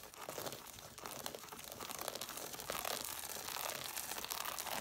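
Long nails scratch and tap the page edges of an angled stack of red cloth-bound hardcover books with solid paper. A dense, bright, crinkly scratching with quick, irregular taps runs throughout and grows slightly louder about halfway through.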